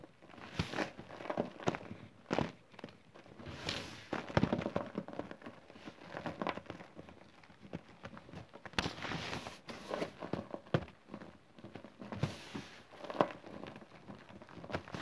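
Crumbly green chalk and cornstarch powder is scooped up in bare hands, then crumbled and sifted through the fingers onto the pile. The result is a steady run of soft, dry crunching and fine crackling, with brief louder crumbling bursts between quieter sifting rustles.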